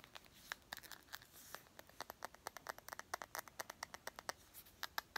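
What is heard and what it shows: A small, partly filled clear glass perfume bottle with a gold cap is held in the hand and tapped and scratched with long nails. Quiet, irregular, sharp clicks come in quick succession, each with a brief glassy ring near 1.6 kHz that dies away almost at once. Soft bright scratching fills the gaps, with almost no low end.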